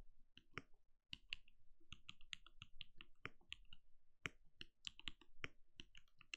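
A compact RGB-lit mechanical keyboard with a translucent plastic case and plastic keycaps sits on a desk and is typed on steadily with the bare fingertips of both hands. The result is a quick, uneven run of short, dry key clacks, each a low, full thock topped with a bright tick, with almost no ring between strokes.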